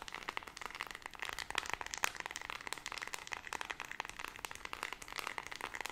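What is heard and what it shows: Long red nails rapidly tap and scratch the rubber keypad buttons of a small handheld white plastic LED remote control. A fast, dense stream of dry, crisp clicks and scratchy ticks sits mostly in the upper mids and bright range, with almost no low end and no ring after each hit.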